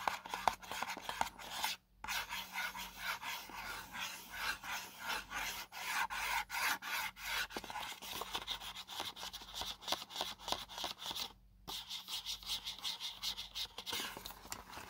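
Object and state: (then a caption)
Cardboard box being scratched. Fingertips and nails rub and scratch the face of a small, hollow, white paperboard selfie stick box, and its end flap is handled. A steady run of dry, bright scraping strokes fills the clip, pausing briefly twice before resuming.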